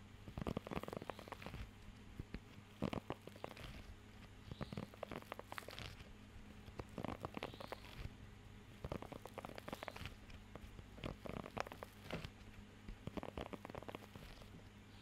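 Fingertips scratch and tap across the raised nubs of a blue rubber pet hair grooming glove held close to the microphone. The result is soft, quiet bursts of rubbery scratching, crackling and light taps, sitting over a steady low hum throughout.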